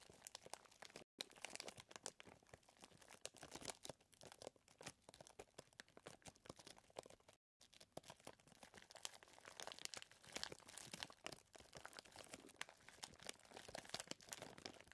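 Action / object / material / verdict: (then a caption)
scrape / plastic zip bag filled with chocolate chips / plastic / none. A flat hand presses and kneads a clear plastic zip bag full of small chocolate chips, making dense, bright crinkling and crunching with rapid short rustles throughout. The sound has almost no low end and stops briefly twice before continuing steadily.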